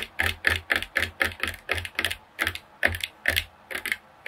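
Long fingernails tap and scratch the ribbed body of a hollow, seemingly empty red translucent plastic spray bottle with a blue-and-white trigger head, held in the hands. The result is an uneven run of crisp, bright, clicky bursts, about two per second, each with a hollow plastic tone near 1.8 kHz. Every burst dies away almost at once, with faint scratchy texture between them.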